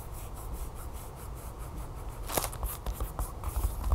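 Long fingernails tap quickly on a flat, sealed plastic package holding a folded yellow plastic tablecover lying on a table, with some light scratching across it. The taps come as soft, fast, uneven crinkly clicks over a steady low rumble, with a few louder bright ticks toward the end.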